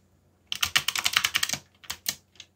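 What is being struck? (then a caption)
Mechanical computer keyboard with plastic keycaps. Fingertips type on a backlit mechanical computer keyboard with plastic keycaps, producing a quick run of crisp, bright clicking key taps. A brief pause follows, then a few more scattered clicks. Each tap is sharp and short, with almost no low end.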